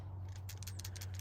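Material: Metal.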